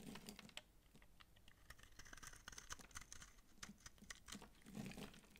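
A utility knife blade shaves the bumps off a dry, palm-sized solid orange massage soap bar held in hand and scrapes its surface into flakes. Rapid, crisp scraping ticks and brittle crackles run continuously with bright, short transients, and a few duller, fuller scrapes land near the end.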